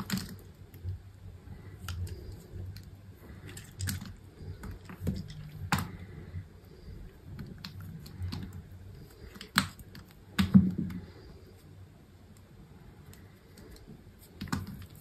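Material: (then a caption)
Soap. A small knife blade cuts and scrapes cubes off the edge of a solid, dry white soap bar that is already scored into a grid and held in one hand with long pink nails. Soft, dull crunches and crisp little clicks come at irregular intervals over a quiet background, mostly low in tone with brief bright ticks. A few louder snaps stand out near the middle and at the end.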